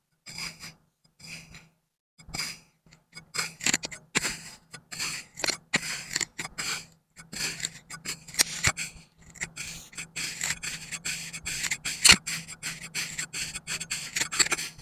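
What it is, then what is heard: Kinetic sand being scraped and crumbled. A serrated stainless-steel scoop is pressed into and scraped through a solid, palm-sized dome of moulded green kinetic sand on a white surface, slicing and crumbling the sand edge. Bright, gritty scraping and crunching strokes come in short bursts with brief pauses, over a faint low hum.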